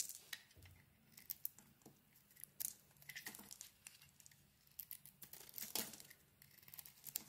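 A utility knife blade shaves and scrapes the flat face of a solid bar of soap, pink-rimmed and white inside. Soft, bright scraping and crisp crackling come in short irregular bursts with sharp clicks and quiet pauses between. The sound is almost all high, papery texture with very little low end.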